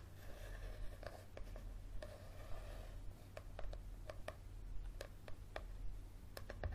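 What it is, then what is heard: Paperback book with card cover. A yellow paperback book with a card cover is held tilted above a table while fingernails tap and scratch the card cover. Soft, dry scratching runs between a series of short, sharp taps at an uneven pace, all quiet over a steady low hum.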